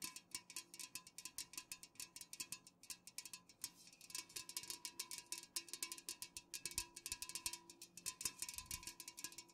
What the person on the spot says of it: fast-ish nail tapping on unopened cans